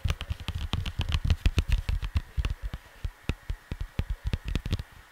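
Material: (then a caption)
Cardboard. Fingers and nails tap and scratch across the printed surface of a flat cardboard vinyl LP sleeve. They make a quick, irregular run of dry, dull taps with a soft low thump and a faint papery scratch. Each tap dies away almost at once, and the taps thin out into sparser single hits toward the end.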